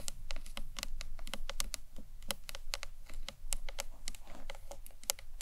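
Long nails tap quickly and repeatedly on the front face and corners of a hollow green marbled acrylic box clutch. Each tap is a short, dry, bright click with almost no ring, hollow around the low midrange, over a steady low background rumble.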